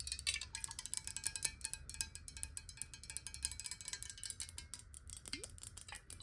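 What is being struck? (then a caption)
Glass water bottle. Long nails tap rapidly on a clear, hollow square glass bottle partly filled with water, held upright and then tilted. The taps make a dense run of bright, glassy clicks with very short ring, and a brief rising tone appears near the end.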